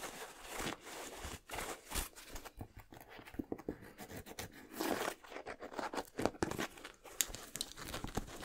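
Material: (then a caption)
Leather. A white, blue and yellow leather high-top basketball sneaker with a rubber sole, hollow and empty, is held in the hands while fingertips and nails tap and scratch its smooth leather upper and rubber midsole. Soft, quick taps mix with dry, bright scratching and crinkly rubbing. The hollow shoe gives short, close, muted knocks with no ring.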